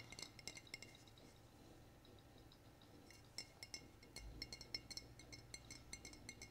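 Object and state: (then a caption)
Glass bottle being tapped. A glass bottle is tapped repeatedly, giving quiet, bright clinking taps with short rings. The taps come in clusters near the start and again from about 3.4 seconds on, over a low steady hum.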